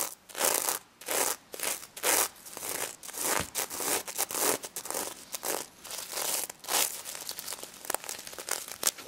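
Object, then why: Plush toy covered in plastic sequins. A hand brushes the plastic sequins covering a pink stuffed pig toy while long nails scratch across them. The result is a series of bright, dry, crinkling scratch bursts that rise and fall with each stroke, with almost no low end.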